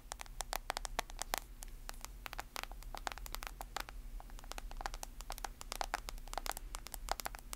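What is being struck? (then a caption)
Smartphone in a plastic case. Long nails tap and scratch the edges and screen of a smartphone in a white plastic case, held flat and then edge-on. Dense, quick clicks and sharp scratches run bright and crisp over a steady low hum, each tap dying away almost instantly.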